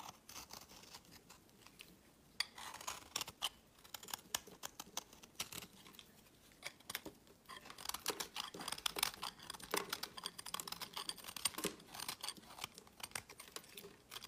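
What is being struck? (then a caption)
Solid bar of soap cut with a metal blade. A hand-held solid bar of purple, white and blue marbled soap, gripped by fingers with painted nails, is shaved with a metal utility blade, and the flakes fall onto a woven mat. Quiet, dry, bright scraping and cutting strokes come in dense bursts with short pauses between them, with almost no low end and no ring after each stroke.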